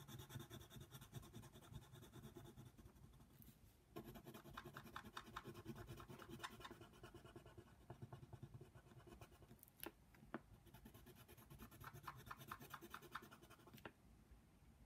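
A yellow colored pencil tip is scratched rapidly back and forth over a small area of a flat paper coloring book page. It makes a steady, dense, papery rasp of quick strokes with a breathy, low-heavy texture. There are brief pauses near four and ten seconds, and a few sharp ticks as the strokes restart.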